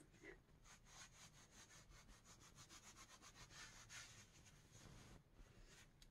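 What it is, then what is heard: Leather gloves rubbed together. A pair of thin, soft pink leather gloves worn on both hands has the gloved palms and fingers rubbed and pressed together, leather against leather. The result is a quiet, steady run of rhythmic swishing and creaking strokes with a bright, airy hiss over a soft low rumble. A brief pause comes near the end before a final louder stroke.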